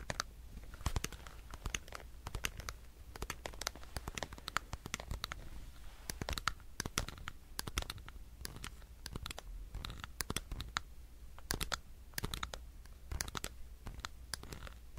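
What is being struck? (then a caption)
Plastic power bank. Fingernails scratch across the surface of a solid black plastic power bank, making a dense run of short, dry scratching clicks with bright, crackly edges over a low, steady hum. The ticks come quickly and unevenly for the whole stretch, each one dying away at once with no ring.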